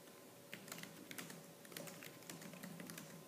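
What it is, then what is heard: Plastic laptop keyboard being typed on. Fingertips with purple-painted nails type fast on the black plastic keys of a laptop keyboard. The result is a quick, uneven run of sharp, bright clicks over a quiet, steady low hum.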